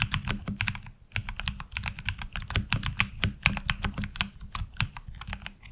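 Fingertips of both hands type quickly on a HyperX Alloy Origins Core tenkeyless mechanical keyboard with ABS keycaps. A dense run of short, bright clacks over a low thump follows a brief pause near the one-second mark. Each keystroke stops almost instantly.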